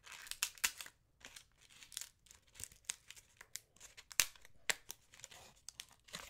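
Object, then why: Large autumn leaf. A large, thin, brittle dry brown autumn leaf, held in both hands, is crinkled and torn with fingers and nails. The result is a quiet run of bright, crisp crackles, crinkles and tearing snaps. The short, sharp bursts fade almost instantly, with very little low end.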